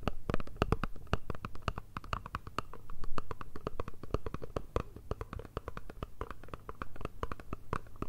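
A small, hollow, rectangular black Chanel cardboard perfume box is held in both hands and tapped and scratched with long red nails. The result is a fast, irregular stream of short, dry taps and scratches with a hollow, low thump beneath crisp clicks.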